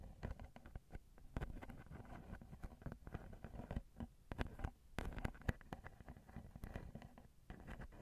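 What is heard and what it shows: Long glittery nails tap and scratch the grilles of the small, hollow, crossed silver metal X/Y microphone capsules on a Zoom recorder. Quick, soft, dull taps patter close together, with brief scratchy brushes between them. The sound is quiet and heavy in the lows, with very little brightness.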